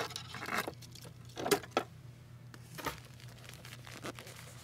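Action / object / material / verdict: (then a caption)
scrape / plastic decorative mesh ribbon roll on a cardboard core / plastic / none. A roll of pastel plastic decorative mesh ribbon on a hollow cardboard core, about 25 cm long, is held and turned in the hand while fingers with long painted nails rub and squeeze the mesh. Soft, irregular crinkling and rustling comes in bursts, with a few sharper crackles standing out above a low steady hum.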